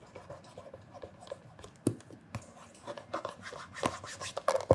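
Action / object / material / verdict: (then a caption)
scrape / leather loafer rubbed with cloth-covered fingertips / leather / none. Cloth-covered fingertips rub and polish a black shiny leather loafer held on its side, its hollow shoe body sounding beneath the strokes. Soft, dry scratching strokes come in quick, uneven bursts, with a faint squeak near 500 Hz. A few sharper, brighter scuffs stand out, growing denser and louder toward the end.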